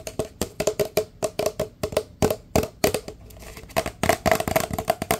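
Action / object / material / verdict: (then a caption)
tap / large paper drink cup / paper / none. A large, empty, hollow paper drink cup is held upside down and tapped fast on its side with the fingertips. The result is a rapid run of short, dry, hollow knocks with a pitch of around 656 Hz and almost no ring. The tapping briefly softens in the middle, then picks back up densely toward the end.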